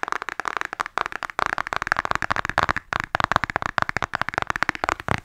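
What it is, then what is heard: Cardboard eyeshadow palette. Long acrylic nails tap rapidly on the front face of a flat, rectangular cardboard eyeshadow palette (an Anastasia Glow kit) held upright in both hands. The result is a fast stream of dry, clicky taps centered around 1.1 kHz with almost no ring, broken by brief pauses.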